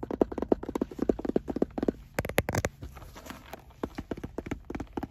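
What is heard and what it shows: Fingertips and nails tap and scratch a hollow, closed, oval sunglasses case with a hard shell covered in brown woven fabric, resting on a car seat. Quick, dry, hollow taps come in rapid bursts with a mid-range knock and almost no ring. A softer stretch of scratchy fabric rubbing sits between the bursts.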